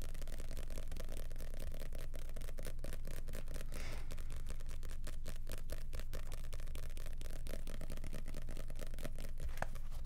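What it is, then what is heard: Paper booklet riffled and scratched. Fingers riffle, flip and scratch the pages of a small red-and-white printed paper booklet held in both hands close to the microphone. The result is a rapid, fairly regular stream of papery ticks and flutters over a steady low hum, at an even level throughout.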